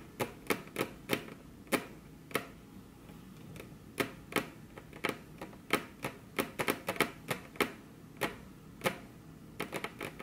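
Very long, curved fingernails tap their tips on a flat, solid, glossy dark-brown wood-grain tabletop, with the hands crossed. About 26 sharp, bright clicks come at an irregular pace, each dying away almost at once. A faint steady hiss sits underneath.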